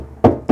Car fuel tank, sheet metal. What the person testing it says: It sounds empty, but if the bottom of it is all gone congealed and hard and full of sludge